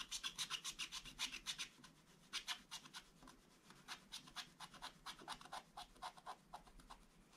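A wooden stylus makes rubbing scratch strokes across a black coated scratch-art paper page. It produces a quiet, bright, dry rasp in quick, uneven bursts, with a short pause near two seconds. The strokes then continue, getting softer toward the end.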